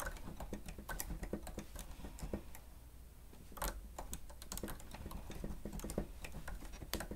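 Two-handed fingertip typing on the keys of a plastic stenotype machine resting on a stand continues throughout. Quick, soft plastic clicks and taps come in dense bursts, with a brief lull near the middle, over a steady low hum.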